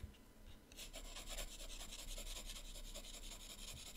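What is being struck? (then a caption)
Coloured pencil on a paper sketchbook page. A teal colored pencil shades with rapid back-and-forth strokes on the right page of an open paper sketchbook. After a brief quiet start, a soft, steady, bright scratchy rasp of pencil rubbing on paper continues without a break.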